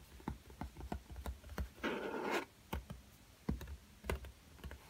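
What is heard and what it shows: Fingertips tap the cardboard cover of a black hardcover spiral-bound sketchbook in a series of short, dull, low taps. Around the middle, the flat fingers rub across the cover, making a brief, brighter scratchy sweep, and then the soft taps continue.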